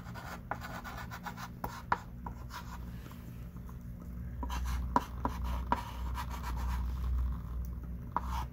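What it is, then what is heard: Chalk writing on a chalkboard. A hand writes lines with a thick stick of pink chalk on a small wooden-framed chalkboard lying flat. Soft, irregular scratching strokes with occasional sharp taps of the chalk against the board. A steady low hum sits underneath.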